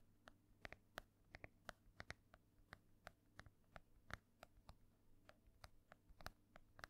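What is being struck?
Embossed hardcover book, fingernails on cover.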